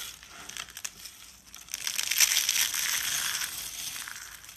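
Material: Soap.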